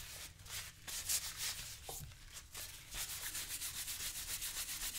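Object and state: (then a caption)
Leather boot. A yellow sponge is rubbed repeatedly over a brown leather boot worn on the left foot while the other hand steadies it. The result is a soft, continuous, bright, hissy rubbing with quick back-and-forth strokes that grow more rhythmic toward the end.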